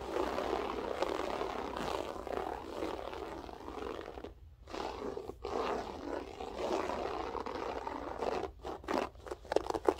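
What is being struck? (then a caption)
Loop-pile carpet. Long nails scratch rapidly with both hands across a grey loop-pile berber carpet floor, making a dense, continuous rasping crackle centred in the mid-range. The scratching breaks off briefly at about 4.5 and 5.3 seconds, then turns into shorter, choppier bursts near the end.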